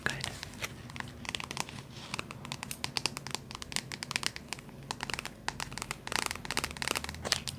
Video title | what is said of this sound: ASMR Trigger Assortment ~ tapping w/ wood, book, glass, necklace & heat pack sounds | a lot higher pitched than you might expect for a book. I thought might have more dense sound.